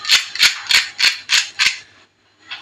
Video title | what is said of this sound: साबुदाणा वडा रेसिपी एक कप साबुदाणा पासून बनवा एकदम कुरकुरीत साबुदाणा वडा/ sabudana vada | किती कुरकुरीत आवाज येतोय बघा